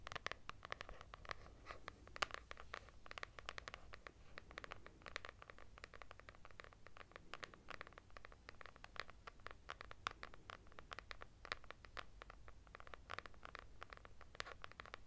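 Long nails scratch rapidly across a purple textured hardcover notebook with a KRAFT label, held upright with its solid paper block. The result is a dense, quiet run of dry, bright scratching ticks over a steady low hum.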